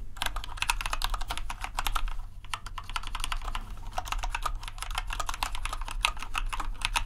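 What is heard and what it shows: Fingertips of both hands tap rapidly on a compact white plastic RGB mechanical keyboard, producing a dense, continuous stream of short, bright clicks with a brief pause near the middle. A steady low hum sits underneath the typing throughout.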